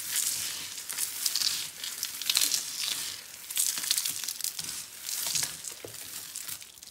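A large heap of crumbled orange and yellow dry soap flakes is rubbed, pressed and crushed flat with both palms and fingers on a dark ribbed board. Dense, dry crinkling and crunching rise and fall in bursts, almost entirely bright and high with no low end.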